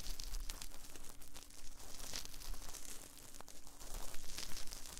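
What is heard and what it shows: Cotton swabs held in both hands rub inside the ear canals of the soft silicone ear molds on a binaural 3Dio microphone. A continuous scratchy, crinkly friction is heard with many quick rubbing strokes, dominated by a deep low rumble and with faint bright edges.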